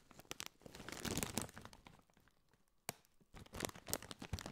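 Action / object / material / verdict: scrape / foil-lined plastic crisp bag / metallized plastic / none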